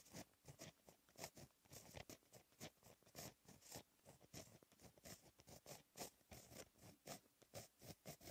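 A blue gel pen held in the fingertips writes Korean text on a flat sheet of black lined textured paper. The result is a steady run of short, dry scratching strokes with a bright, hissy edge. The strokes come in quick bursts with brief gaps between them.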